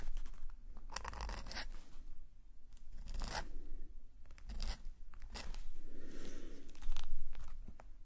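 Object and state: Metal nib scratching on a paper page.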